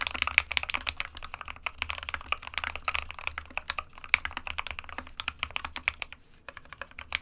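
Both hands' fingertips type continuously on the plastic keycaps of a small 60% SK61 white plastic-cased mechanical keyboard resting on a desk mat. A rapid, uneven stream of sharp, bright plastic clacks with almost no ring, centered around 2.3 kHz, runs over a faint low hum, with a short lull near the end.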